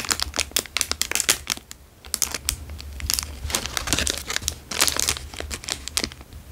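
A plastic Dairy Milk chocolate bar wrapper is stretched and crinkled between fingertips. Dense, bright crackling bursts follow one another quickly, with a brief quieter lull just before the two-second mark, over a faint low hum.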